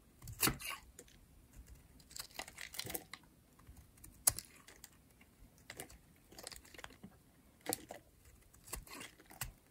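A metal blade scrapes across the face of a pink rectangular bar of solid dry soap, shaving off thin curls. The result is a series of short, dry, crisp scraping bursts with bright, high hiss, separated by quiet pauses.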